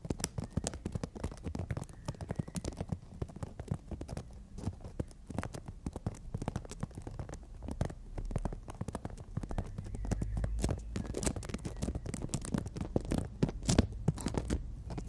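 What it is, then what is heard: Emery board nail file. Long natural nails drum and scratch on a horizontal emery board nail file, making a dense run of quick, dry taps mixed with soft scratching. The sound is mostly low and muffled, with short clicks that die away at once and a few brighter ticks. It gets slightly louder and busier toward the end.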